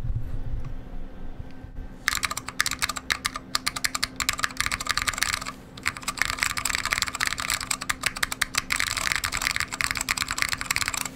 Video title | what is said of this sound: Rebuild: H87ALPS Pre-Release PCB in Salamander w/Alps Browns | actually sounds considerably better than this board with the weight on but it only sounds good right there in the center